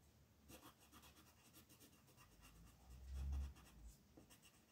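A yellow-gold colored pencil, held in the fingers, rubs and scratches back and forth as it colors small areas of a thin printed paper mandala sheet lying flat on a dark wooden table. The other hand, with red nails, rests still on the sheet. The quiet strokes give soft, dry scratching with faint bright grain over a low rumble, and a deeper, louder swell comes near the end.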